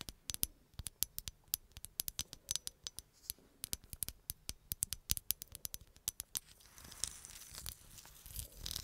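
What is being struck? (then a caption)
Glass bottle. Long acrylic nails tap and scratch a hollow green glass bottle, possibly on its label. Dozens of quick, sharp, bright clicks with almost no ring come first. For the last few seconds they give way to a steadier, hissy scratching.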